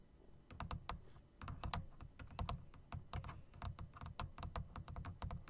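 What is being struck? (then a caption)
Plastic and metal typewriter-style mechanical keyboard. An RGB typewriter-style mechanical keyboard of plastic and metal, with round plastic keycaps set in chrome rims, is typed on first with long nails and then with fingertips. Irregular, quick key presses give sharp, bright clicks over a deep, thumpy bottom-out that dominates the sound, and each keystroke dies away almost instantly.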